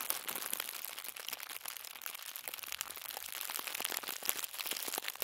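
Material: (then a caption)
Paper. A crumpled wad of white thin tissue paper, the light and hollow shoe-wrapping kind, is squeezed and crinkled between the fingertips of both hands. Dense, bright crackling and rustling runs throughout with many quick, sharp crinkles and almost no low end.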